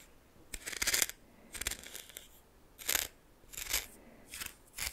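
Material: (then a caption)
Salt. A red plastic spoon stirs and scrapes coarse salt crystals in a small glass bowl. Bright, gritty crunching and scraping comes in short, uneven bursts with quiet gaps between them.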